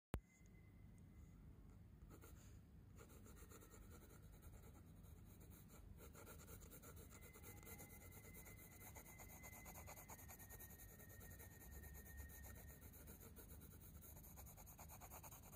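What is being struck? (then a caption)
Coloured pencil on a paper sketchbook page. A wooden coloured pencil held in the fingers rubs and scratches in short strokes across a spiral-bound paper sketchbook page with a dark textured drawing, lying flat, while colouring. After a brief click at the start, a quiet, steady, dense scratchy rubbing continues throughout over a low rumble.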